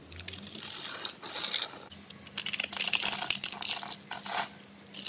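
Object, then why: Bar of soap cut with a small metal blade. A small metal blade scrapes and cuts into the scored surface of a solid, palm-sized oval pink soap bar held in one hand, crumbling small cubes and flakes onto a dark table. Bright, crisp scraping and crunching come in several bursts with short quiet gaps. A faint steady low hum runs underneath.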